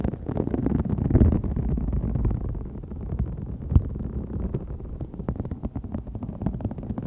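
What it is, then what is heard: Faux snakeskin vinyl sheet being scratched. Long fingernails scratch along the raised scale texture of a large, thin, flexible green-gold holographic faux snakeskin vinyl sheet lying flat. The result is a dense, continuous low rumbling scrape, heavy in the bass with little brightness, made up of many quick crackling ticks. A louder burst comes just after one second and a sharp tick near four seconds.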